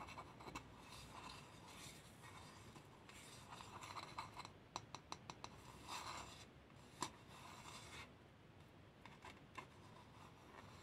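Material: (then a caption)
Lacquered wood. A large, empty Khokhloma wooden bowl with a glossy gold-lacquered interior is scratched and rubbed inside with long nails and fingertips, while a pearl bracelet hangs on the wrist. Soft, steady scraping and rubbing run throughout, broken by short, bright clicking taps that ring briefly around 1 kHz.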